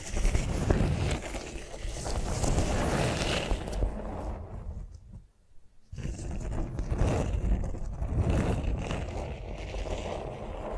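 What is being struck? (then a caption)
Beeswax-coated cotton wrap on a vinyl mat. Long nails tap and scratch a flat beeswax-coated cotton food wrap lying on a vinyl mat. The sound is a steady stream of soft, crinkly scraping and light taps, weighted toward the low end. It drops to near silence around the middle, then resumes.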